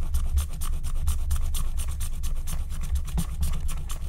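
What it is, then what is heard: Wax-coated scratch-art card being scraped. A wooden stylus scrapes the black wax coating off a flat, thin paper scratch-art card in repeated scratching strokes. The result is a steady, dry rasping with bright scratchy streaks over a low, dull rumble, its strokes running together without clear gaps.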